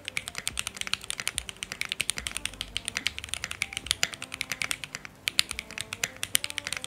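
A Keychron Q1 full-size mechanical keyboard with lubed Alpaca switches, a dark metal case and red, cream, yellow and teal plastic keycaps rests on a light surface with a coiled cable while both hands type on it with their fingertips. Rapid, steady key presses produce sharp, bright clicks and clacks that stop almost instantly and carry very little low end.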